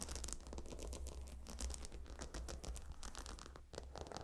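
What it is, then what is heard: Stone-tile pillow scratched and tapped with nails. Fingernails tap and scratch across the glossy brown stone tiles of a gemstone hot stone pillow. Quick, bright clicks and dry scraping strokes come in a dense, uneven stream over a steady low hum, with each tap dying away almost instantly.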